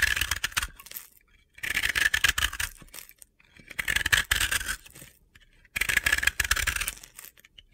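A utility knife blade scrapes a solid, powdery, round blue and yellow bath bomb held in the fingers, crumbling off gritty powder. Four bursts of dry, crunchy scraping come in waves, each separated by a brief near-silent pause.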